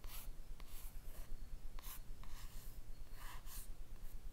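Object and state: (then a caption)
Cardboard eyeshadow palette. Long red nails slowly rub and scratch across the printed rose-and-face cover of a closed, flat rectangular cardboard eyeshadow palette. The sound is soft, dry scratching in bright bursts with few sharp onsets, over a low steady rumble.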